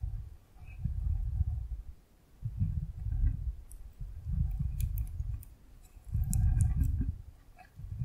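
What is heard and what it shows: A rectangular clear plastic container full of yellow gel water beads is tilted and rocked in the hand, so the beads roll and clatter against its walls. The sound comes in soft, low, rumbling swells that rise and fall about four times. Faint bright clicks sparkle over the top.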